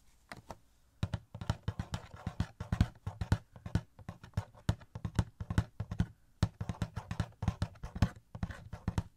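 Fingertips tap quickly on a small, hollow cardboard Funko Pop box with a plastic window and an Art3mis figure inside. The result is a rapid, uneven run of soft, dull, low knocks that die away almost instantly, with brief pauses between bursts.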